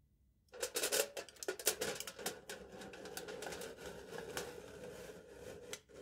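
A knife tip taps repeatedly on aluminium foil stretched taut over the hollow top of a small foil-wrapped cylindrical cup, held upside down in one hand. After a brief silence, a quick run of crisp, bright, crinkly ticks begins with a slight hollow tone around 440 Hz. The taps are loudest early on, then settle into a steady, quieter patter with a few sharper hits.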